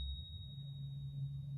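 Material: Nothing is struck.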